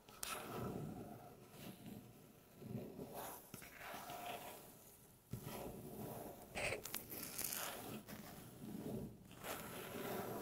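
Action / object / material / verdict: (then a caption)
scrape / wooden tabletop / wood / none. Long natural fingernail tips slowly tap and scratch across a light-colored, flat, solid wooden tabletop. Soft, dry clicks and rustling scrapes come in uneven bursts with some bright, crisp edges, and the sound fades quickly between strokes.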